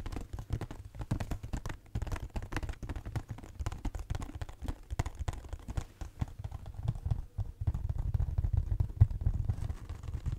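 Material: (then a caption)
Cardboard. A pink, hollow cardboard Kleenex cube box with its label on top is tapped with fingernails on its sides and top. The result is a rapid, dense run of short, dry, hollow taps with a low, boomy body and almost no ring.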